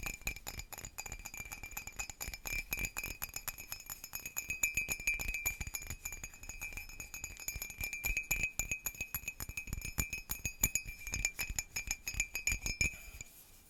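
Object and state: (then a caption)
Ceramic mug. Rapid, continuous tapping on a slightly chipped ceramic mug with a sailboat scene, used for herbal tea, produces bright, glassy clinks. Each tap dies away almost at once, leaving a steady high ringing tone. The tapping runs for about 13 seconds before it stops.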